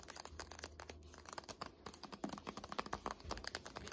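Long nails tap rapidly on the dark laminated spine of a thick "Art History" hardcover textbook standing on end. The result is a quick, dense run of dry, clicky taps with a crinkly, papery edge, each dying away almost at once.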